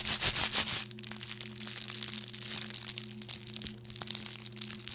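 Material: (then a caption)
Plastic. A small wad of clear plastic bubble wrap held in one hand is crushed and popped with the fingers and nails. A loud, bright burst of crinkling and crunching fills the first second, then settles into quieter, continuous crackling with scattered sharp little pops. A faint steady low hum runs underneath throughout.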